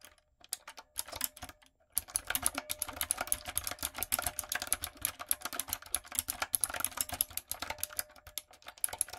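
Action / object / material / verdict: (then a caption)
tap / mechanical keyboard with round plastic keycaps / plastic / none. Long coffin nails and fingertips tap and type on the round plastic keycaps of a medium-size, retro typewriter-style backlit mechanical keyboard with a dark frame. After a few scattered clicks and a brief pause, a dense run of fast, crisp, bright clacks follows, each click short and dry with almost no ring.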